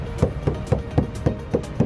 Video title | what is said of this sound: Wajib Tau!!Tanda2 mobil bekas Tabrakan!!!! | ini masih lebih garing dibandingkan yang ini